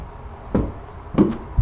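Knuckles and long fingernails tap and scratch on a solid, brown, grid-textured rubber mat. Three dull, low thuds stand out against a quiet background, each dying away quickly.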